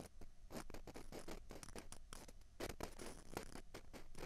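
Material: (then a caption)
Plastic. Two small hollow white plastic ping pong balls, one held in each hand, are scratched with long fingernails. The result is a quiet, continuous run of dense, bright scratching strokes with short crackly bursts.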